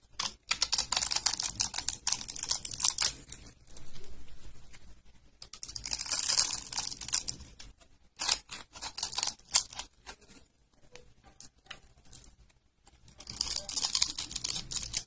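A metal blade scrapes across a solid tan bar of dry, grid-scored soap held in the hand and cuts off small cubes, producing crunchy, crackling sounds. The sound is dry and bright, with long bursts of gritty scraping broken up by quick, sharp snaps as pieces break away. The same bar is worked throughout.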